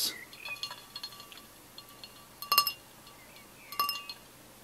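A tall, clear, etched pint glass with a little orange drink and ice left at the bottom is held in one hand and tapped on its side with the fingertips and nails of the other. The result is a quick series of bright, high clinks with short rings. Two louder taps near the 2.5 and 3.8 second marks ring out a little longer.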